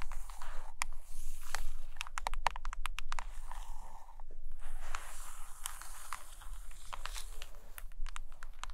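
A closed hardcover book with a glossy laminated cover rests on a carpet while long nails tap on its top edge and scratch across the cover. Sharp, bright clicks come in an irregular run over a soft, steady scratching hiss, with a low rumble underneath.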